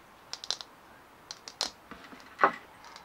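Fingernails tap and scratch a big perforated, bumpy plastic ball, making quick, light, clicky taps with a short scrape. Eight separate sharp clicks stand out over a quiet background, and each one dies away almost at once.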